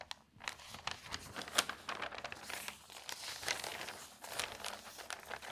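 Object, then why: Newsprint newspaper. Fingertips with long nails turn the thin newsprint pages of an open paper newspaper and fold them over. The result is a steady, bright crinkling and rustling with many short crackles and soft sweeping swishes.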